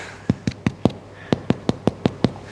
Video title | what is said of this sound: Aussie Damper Bread Is So Easy To Make With No Yeast | I think it's got that Hollow sound